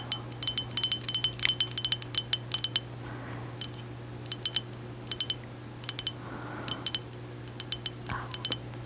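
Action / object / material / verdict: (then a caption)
tap / small ceramic mug / ceramic / none. A small white mug with an embossed hexagon pattern, possibly ceramic or milk glass, hollow and empty, is held in one hand and tapped and scratched with long acrylic nails. Dozens of quick, bright clinks come in clustered bursts, each with a short glassy ring near 3 kHz, between softer scratching swishes. A steady low hum runs underneath throughout.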